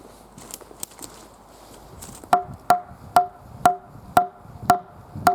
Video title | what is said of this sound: Dropping & Chipping A Red Oak Tree! | I'm not even denting it. I'm hitting it with a rock.